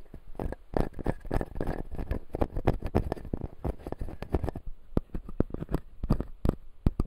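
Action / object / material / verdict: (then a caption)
tap / acrylic jaw model with resin teeth / plastic / none. Fingertips and nails tap and scratch the white resin teeth of a clear acrylic full-jaw dental model. Busy, close scratching and clicking fills the first half; after that come sparser, sharp, dry taps that die away almost instantly, with most of the energy low and dull.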